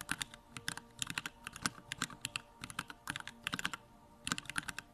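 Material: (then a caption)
Plastic. A compact Bakeneko65 mechanical keyboard with Durock Lavender switches and plastic keycaps is typed on steadily with the fingertips. About 25 short, bright clacks come in quick bursts, each dying away almost instantly, with brief pauses between runs of keystrokes.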